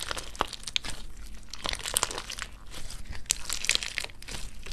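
A hand-sized clump of clear orange slime packed with soft, solid gel water beads is kneaded and squeezed between the fingertips and thumbs of both hands. It gives a steady run of crunchy, crinkling squishes with sharp, bright pops scattered throughout.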